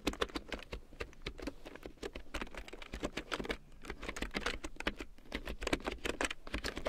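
A full-size large print keyboard with a black plastic frame and big yellow plastic keycaps, lying on faux fur, is typed on with long painted nails and fingertips. Quick, dry plastic clicks and taps patter in a steady, uneven stream, each one short with almost no ring and a bright edge over a soft low thud.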